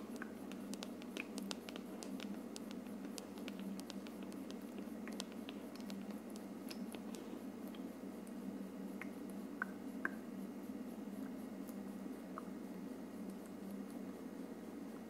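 Long nails tap and scratch the curved surface of a hollow frosted plastic dome on an aroma diffuser. The result is soft, quick clicks and light scratching with bright ticks and a few short ringing taps near 1.5 kHz, all over a steady low hum.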